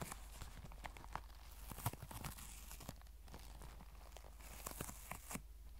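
A tan, soft, cylindrical faux leather pencil case, apparently filled, is held close and scratched and tapped along its fabric and leather surface with long white nails. Quiet, dense scratching and crinkly rustling run throughout, with many brief, sharp taps and a steady low hum underneath.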